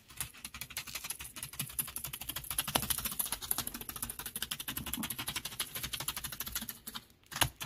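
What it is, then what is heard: Beach gravel with shell fragments. Fingertips tap and scratch into a bed of small loose beach gravel mixed with shell fragments. The result is a rapid, steady stream of dry, bright clicks and crackles with almost no ring. A brief pause comes near the end before a final louder tap.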